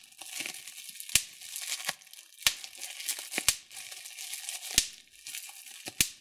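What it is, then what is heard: Plastic bubble wrap being popped. A large sheet of clear plastic bubble wrap with small air-filled bubbles is held in both hands while fingertips and thumbnails pinch and pop individual bubbles. Soft, bright crinkling of the plastic runs throughout, broken by several sharp, short pops that stand out above the rustle at irregular intervals.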